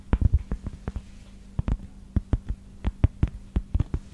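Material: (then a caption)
Cork. A small, thin, round, solid cork coaster is held up near the microphone and tapped and scratched with long acrylic nails. The result is an irregular series of short, dull, low thuds with quick bright clicky edges and no ring, over a faint steady low hum.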